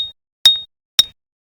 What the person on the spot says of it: another way you can tell whether it's opal is it sounds like glass